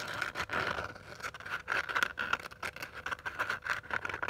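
Long dark nails scratch across the rough surface of a small purple glitter-covered cardboard hardcover notebook. The result is a dense, gritty scraping made of quick, uneven strokes with a steady raspy tone around 1.4 kHz. There is almost no low end and each stroke stops dead with no ring.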